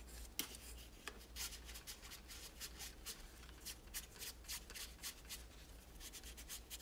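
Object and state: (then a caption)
Plastic toy tower being wiped. A hollow plastic toy tower with spiral ramps is held and rubbed with a microfiber cloth, making a quick series of soft, bright swishing strokes. The strokes are quiet and dry, with no ring after each one, over a steady low hum.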